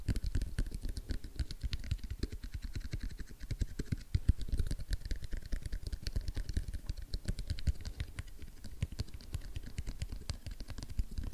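Fingertips and nails tap rapidly on the printed lid of a small, hollow, sealed white rigid cardboard iPhone XS Max box lying on a wooden table. The result is a dense, continuous patter of quick, dry clicks with a soft low thump beneath and almost no ring after each tap.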